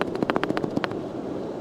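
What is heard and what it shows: A dried brain fruit (monkey's brain) sea bean is shaken close to a microphone, and the loose, peanut-like seed inside rattles against the hard shell. About nine quick, dry clicks come in the first second, then fade into faint hiss.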